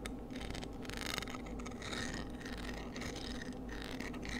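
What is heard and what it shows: Long nails scratch and tap across the strong radial ribs of a palm-sized, hollow, empty white cockle shell held in the hands. It makes a steady, soft rasping scrape with faint light taps mixed in, over a low constant hum.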